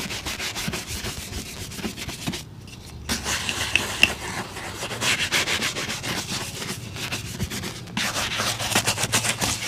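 A wooden-handled bristle brush is swept along the toe of a brown leather boot. It makes a quick, uneven run of bright, scratchy brushing strokes with a dry hiss, broken by a brief quieter pause near the three-second mark.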